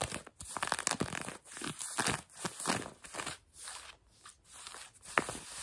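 Long nails scratch light blue denim jeans fabric stretched over a knee. They make a series of dry, rasping strokes with a bright, papery texture, separated by short quiet gaps.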